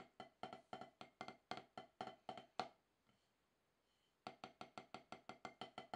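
Two wooden drumsticks tap steady strokes on a solid octagonal HQ practice pad with a dark rubber surface, each hit a short, dry knock centered near 750 Hz with a bright click on top. A run of about a dozen even taps breaks off into a quiet pause with one faint tap, then another quick run of taps resumes.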